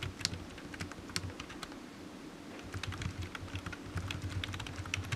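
Fingertips of one hand type on a solid, black, low-profile plastic computer keyboard resting on a desk mat. It makes a quiet, steady patter of short, dry, bright key taps, irregularly spaced and growing slightly busier toward the end, over a constant low hum.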